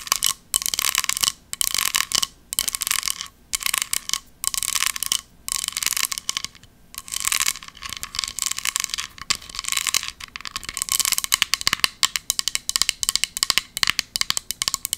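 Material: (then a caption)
Metal. A small, round, embossed silver metal pumpkin compact is held in both hands and tapped and scratched with long nails. Bursts of bright, dry scratching alternate with quick, crisp metallic ticks that grow denser toward the end. There is almost no low end and no ringing after each tap.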